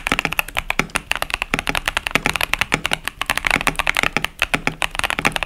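A KBD67 Lite 65% mechanical keyboard with Boba U4T tactile switches and pastel plastic keycaps is typed on continuously with the fingertips of both hands. About 36 quick, sharp clacks come through, bright and clicky with a focus near 2.3 kHz, little low end, and almost no ring after each keystroke.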